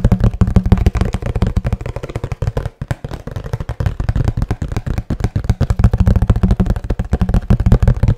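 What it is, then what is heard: Cardboard box. A hollow kraft cardboard box is held upright while fingertips tap rapidly and continuously on its face. The taps are dull, hollow, low thuds with a brief pause near the three-second mark. Each tap dies away almost at once.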